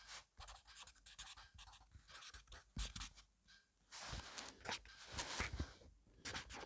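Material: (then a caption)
Paper. A black fine-liner pen scribbles fast, messy writing strokes across a page of a thick paper grid notebook lying on a wooden table, while the other hand with painted nails rests flat on the paper. Bright, scratchy bursts of pen on paper come in quick, uneven runs with short pauses, over soft low thuds from the strokes.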